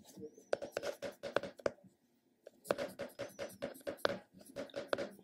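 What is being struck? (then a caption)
Small round plastic container. A round, flat, hollow purple plastic cosmetic container, held in a palm, is tapped and scratched on its top and side with fingertips and short nails. About nineteen quick, dry taps with a hollow mid-pitched tone fall in two bursts around a brief pause, mixed with light, bright scratching. Each tap dies away almost at once.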